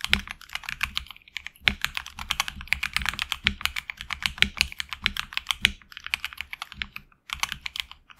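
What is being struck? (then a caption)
Mechanical keyboard with plastic keycaps on a metal plate. Fingertips type continuously on a HyperX Alloy Origins Core tenkeyless mechanical keyboard with HX Red switches and PBT plastic keycaps on an aluminum plate in a hollow case. The result is a rapid, steady stream of bright, short clacks that die away almost instantly, with brief pauses near 1.4 and 7 seconds.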